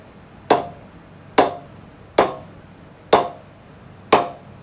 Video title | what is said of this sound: Kookaburra Beast Pro 2022 Cricket Bat review | the ping that is coming out of it is just superb